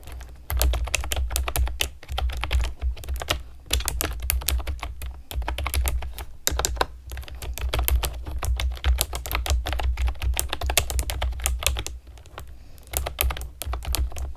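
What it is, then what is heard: Plastic keyboard being typed on. A compact, typewriter-style computer keyboard with round pastel plastic keycaps and a hollow plastic body is typed on rapidly with long nails and fingertips. The result is a dense stream of sharp, bright, clicky taps over a steady low hum, with brief lulls around 3.5, 6.5 and 12 seconds.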